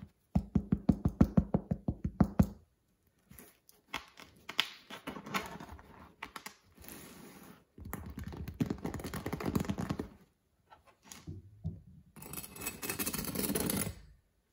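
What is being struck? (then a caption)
Sourdough bread loaf. A medium-sized whole crusty sourdough loaf, solid with a hard dark crust and resting on a wooden cutting board, is tapped and knocked with fingertips and nails. A quick run of dry, hollow low thuds gives way to softer, denser scratching and tapping bursts, and a bread knife comes into view near the end.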